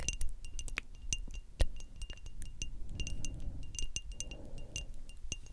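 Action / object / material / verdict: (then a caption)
tap / small frosted glass perfume bottle with metal cap / glass / none. A small rectangular frosted glass perfume bottle with a metal spray cap is tapped with long acrylic nails in a quick, irregular series of light clicks. Each tap gives a short, bright glassy ping that dies away almost at once, over a soft low rumble. One tap near the middle stands out louder than the rest.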